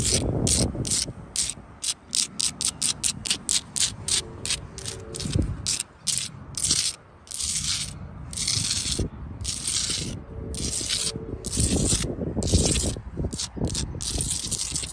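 Long blue acrylic nails scratch quickly over the gritty faces and mortar of a solid sandstone block wall. Rapid, bright, rasping strokes come in short bursts at first, then stretch into longer scraping sweeps over a low rumble.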